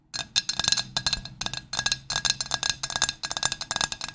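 A large, flat pink ceramic Pottery Barn dinner plate, held upright in both hands, is tapped rapidly with long nails on its face and rim. The taps are bright, crisp clicks with a faint high ring that fades almost instantly, arriving in quick irregular bursts.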